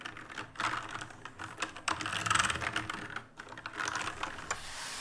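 Fingertips type on an RGB-lit black mechanical keyboard with plastic keycaps, and a hand sweeps across the keys. The result is a quick, uneven run of crisp plastic clicks and clatters, with a bright rattle centered around 1.3 kHz. A brief pause comes just past the three-second mark, then softer tapping and brushing across the keys.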